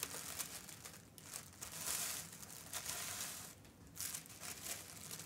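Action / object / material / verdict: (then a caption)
scrape / tissue paper sewing pattern sheet / tissue paper / none. A thin tan tissue paper sewing pattern sheet rests on a fabric ironing board while hands fold it into a small rectangle and rub the folds flat with their fingertips. The result is soft, continuous crinkling and rustling that is mostly bright and high, with little low end. It swells in louder bursts around the middle and near the end before settling back to quieter rubbing.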